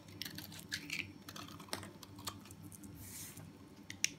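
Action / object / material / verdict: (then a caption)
scrape / bar of soap scraped with a small knife / soap / none. A small metal knife with a blue handle scrapes and cuts the edge of a hand-held solid yellow soap bar, shaving it into crumbly flakes and powder. Quiet, bright, crisp crackles and ticks come as the blade bites in, with a longer soft scrape near the end and a sharp snap just before it finishes.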